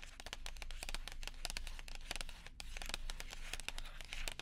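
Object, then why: Paper and foil gum package. A small, flat, silver-and-white paper and foil gum package is handled, crinkled and tapped with long nails and fingertips close to the microphone. A dense run of quick, crisp clicks and papery crinkles sounds bright and dry, each tap dying away almost at once over a faint low hum.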